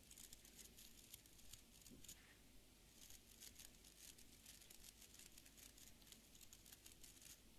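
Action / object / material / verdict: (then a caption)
scrape / fibre-bristle beard brush / fibre bristles / none. Fingertips and nails flick and scratch across the tips of a small hand-held beard brush with an orange wooden back and dense, stiff dark fibre bristles. The result is a quiet, steady stream of bright, crackly scratching and rapid ticking bristle flicks that continues without a break.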